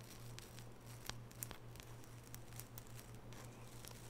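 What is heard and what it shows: Long natural fingernails scratch and brush across the bristles of a small oval wooden nail brush with natural bristles, held bristles up. Soft, crisp rustling and scratchy patter is heard with short sharp clicks scattered throughout, over a steady low hum.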